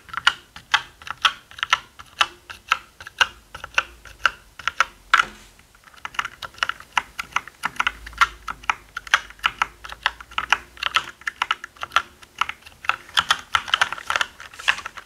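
Fingertips of both hands type on a black plastic mechanical keyboard with plastic keycaps and a hollow body. A steady stream of short, bright, clacky keystrokes ring out with a hollow tone and a brief pause around the five-to-six-second mark.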